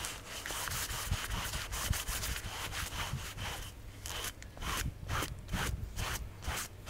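A gloved hand scrubs a large, wet, soapy black textile carpet floor mat from a Mercedes back and forth with a wooden-block hand brush while it lies flat on a wet garage floor. Quick, uneven bristle strokes make a steady wet, raspy rubbing with bright hiss on each pass over a low rumble.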